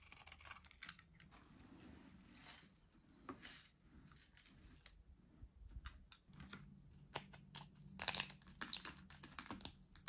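A white, dry solid soap bar held in the hand is shaved and carved with a metal box-cutter blade. Bright, crunchy scraping and crisp cutting strokes come in irregular bursts over a faint low hum, with louder, sharper cuts toward the end.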